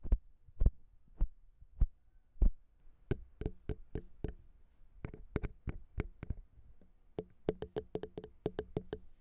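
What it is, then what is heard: Metal microphone capsules tapped with fingernails. Long pink nails tap rhythmically on the small chrome metal XY microphone capsules of a Zoom H6 recorder, which sit on a plastic XY mount. The taps are short, dry clicks with a deep, boomy thump. They start slow and widely spaced, then come in quicker, uneven clusters with a faint low ring under each tap.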